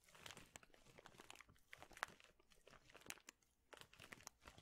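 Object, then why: Plastic bag of thin wooden chips. A large clear plastic bag full of thin, flat wooden chips is squeezed and crinkled with the fingertips. It makes a quiet, continuous bright crinkling with many sharp little crunches and snaps that die away instantly. There are a few brief near-silent gaps between bursts.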